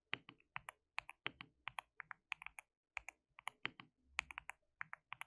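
Both hands type continuously with their fingertips on a compact, hollow, white-cased mechanical keyboard with white and pink plastic keycaps and RGB backlight. About 29 sharp, bright, plastic key clicks sound in quick, uneven bursts, each very short with almost no ring, centred around 2.5 kHz with almost no low end.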